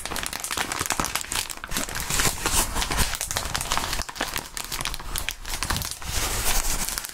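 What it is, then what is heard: Plastic bubble wrap. A small crumpled sheet of clear polyethylene bubble wrap with hollow air-filled bubbles is held and squeezed between the bare fingertips of fingerless-gloved hands. The result is a dense, continuous crinkling and crackling with bright, sharp snaps layered over a low rustle, swelling louder in a few stretches over about seven seconds.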